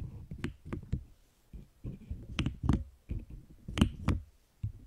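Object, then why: Plastic keyboard keycaps. Long green acrylic nails tap and click on a large cube-like object covered in pastel pink and blue plastic keyboard keycaps, held in both hands. A quick series of short, dull, low-pitched clacks sounds, some with brief bright clicks on top, each dying away almost at once.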